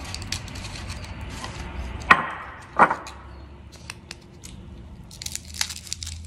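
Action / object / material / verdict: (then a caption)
strike / fried tortilla chips / fried corn / crisp. Homemade tortilla chips, fresh from frying, are handled and snapped, giving two sharp, crisp cracks among softer rustling and crinkling. The chips sound crispy and crunchy.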